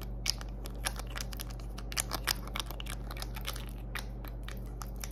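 A small plastic concealer tube with a gold-coloured cap is held in the hands and rapidly tapped and scratched with long acrylic nails. The result is a quick run of sharp, bright clicks and scratchy crackles over a steady low hum.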